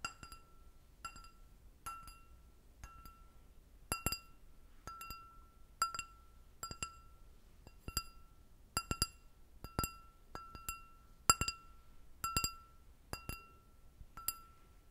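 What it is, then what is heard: Glass goblet. An empty clear glass goblet with a short stem is tapped repeatedly with long nails, giving 21 separate, quiet clinks in an irregular rhythm. Each tap rings a clear tone near 1.35 kHz with bright, high overtones that fade quickly over a faint low background hum.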